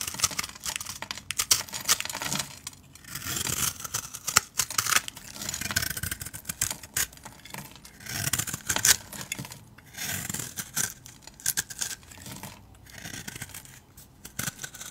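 A metal utility-knife blade shaves and scrapes thin flakes off the surface of a solid, palm-sized rectangular bar of dry blue soap held in one hand, and the flakes fall onto a pile of soap shavings. The scraping comes in repeated bursts of bright, crisp crackling and rasping. Short pauses fall between the strokes.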